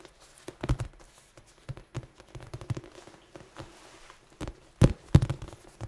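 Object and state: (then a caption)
Foam dice cube. A large red dice cube with black pips, probably soft foam, is held in both hands and tapped and scratched with fingertips and short nails. Irregular, dull, low thuds that die away almost instantly mix with faint scratching between them. The two loudest taps come near the end of the clip.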